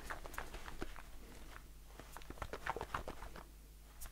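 A blue aluminium shaving foam aerosol can with a plastic cap is held in the hand and tapped with the fingertips. The result is a quick, uneven patter of soft, hollow taps with a short ring around 1 kHz, over a faint low rumble.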